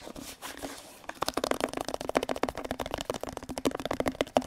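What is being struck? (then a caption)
Plastic detergent bottle. A hollow teal plastic detergent bottle is tapped with fingertips and nails on its sides and base. After a second of soft, quiet rustle, a fast run of short, dry, hollow taps follows. They have a mid-pitched tone around 600 Hz, bright clicky nail edges, and almost no ring.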